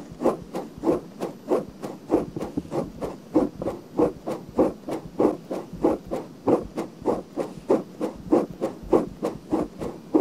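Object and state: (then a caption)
Silicone microphone ear scratched. Fingernails scratch the rim and canal of a pale pink silicone binaural microphone ear in a steady, slightly uneven rhythm of roughly 97 strokes per minute. Each stroke is a short, dry, muffled rub centered in the low mids around 320 Hz, with faint bright scratchy edges and no ring after it.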